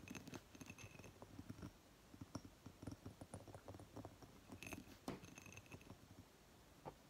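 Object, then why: Glass candle jar with wax. Long fingernails tap and scratch the ribbed glass near the rim of a glass candle jar filled with green wax, resting on a table. Quiet, irregular clicks and dry scratching rustles are heard, with faint high glassy tones ringing briefly after some taps.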